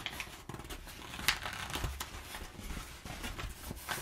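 Fingertips and nails scratch and scrunch crumpled brown kraft paper packing padding. A steady, close crinkling rustle with bright, papery edges and a low body comes through, broken by sharper crackles and one louder snap of paper partway through.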